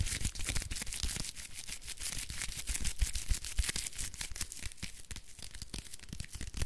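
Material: Paper.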